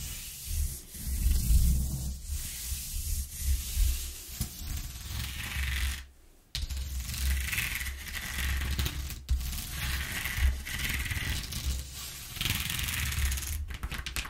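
Fingers and a palm rub and lightly scratch over the ridges of a flat corrugated cardboard sheet lying on a wooden table. The result is a steady, textured rasping with a strong low rumble underneath and a bright papery hiss on top, swelling and easing with each stroke. It drops to near silence briefly around the six-second mark, then resumes.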